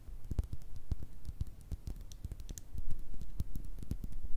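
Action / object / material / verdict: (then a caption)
tap / small clear glass bottle with liquid / glass / none. Long red nails tap and scratch a small, hollow clear glass bottle with a thick base and a black top, partly filled with liquid. The result is a rapid run of short, dull taps with a low thump and brief bright clicks. Each tap dies away almost at once, under a soft scratching rustle.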